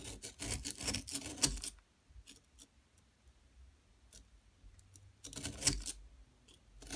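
A metal pick or chisel scrapes a solid yellow plaster dig block as a long-nailed hand steadies it and powder falls away. Bursts of dry, bright, gritty scraping fill the first stretch, fade to quiet with a few faint ticks, then return in a second short burst near the end.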